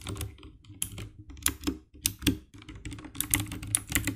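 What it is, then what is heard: Plastic mechanical keyboard. Fingertips type rapidly on the keycaps of a compact 60% black plastic mechanical keyboard with an RGB backlight. Quick, irregular key presses produce sharp, bright clicks over a low, hollow thock. Each press dies away almost instantly.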